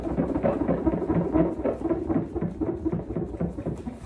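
Palms and fingertips tap, pat and slap the surface of a jumbo transparent PVC vinyl beach ball with colored stripes, hollow and fully inflated with air, as it is leaned on and moved around on a sofa. The result is a rapid, uneven run of dull, hollow thumps, about four per second, with a low-mid body around 320 Hz and little bright content, under a soft rustling wash.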